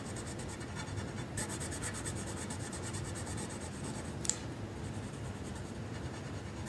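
The tip of a magenta wooden colored pencil rubs back and forth across a flat paper coloring sheet. It makes a steady, soft scratching with a high, bright hiss. A few sharper scrapes stand out, the clearest near the four-second mark.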